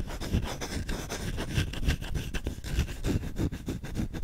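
Fingertips scratch and rub aggressively on the bowl of a solid wooden spoon held close to the microphone. Fast, irregular scraping strokes overlap with dull low thumps and bright rasping noise, without a steady rhythm.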